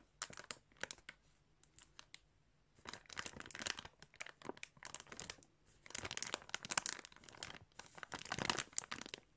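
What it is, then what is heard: Clear plastic bag of yarn. Fingers pinch and crinkle a clear plastic bag full of yarn, and a hand presses over it. Bright, crackly crinkling comes in dense clusters with short quiet gaps between them, each crackle dying away almost at once.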